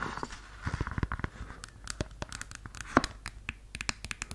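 A red suede stiletto pump is scratched and tapped with long yellow nails on its suede upper and its insole. The result is a run of quick, dry taps and soft scratching with short bursts that die out almost at once. A few sharper clicks stand out near the middle and the end.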